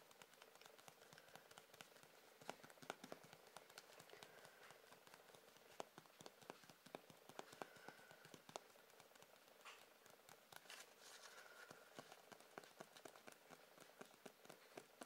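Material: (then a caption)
Paper. A hollow cone of white dotted paper with a strawberry print is tapped and scratched with fingertips and nails. The result is a quiet, steady stream of crisp, dry papery taps and scratches that stop short with no ring.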